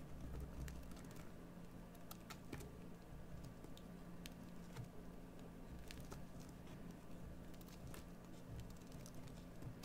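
A metal carving knife scrapes and carves a solid green bar of soap, giving scattered short, bright scratching clicks. Beneath them runs a steady, quiet low hum, and the overall level stays soft and even throughout.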